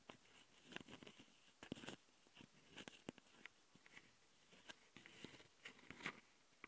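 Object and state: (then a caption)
Plastic audio recorder tapped and scratched. Long nails of one hand tap and scratch the top panel and capsules of a handheld plastic Tascam audio recorder. Quiet, dry clicks and scrapes come in irregular bursts, with bright, crisp edges and almost no ring.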